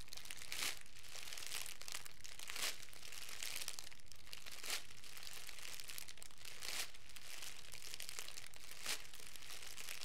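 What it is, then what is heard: Crinkled plastic cellophane wrap. A loose, hand-sized bundle of thin, clear plastic cellophane wrap is squeezed and crinkled by the fingertips of both hands. It makes a steady, bright crackling rustle, with louder crunchy bursts roughly every two seconds.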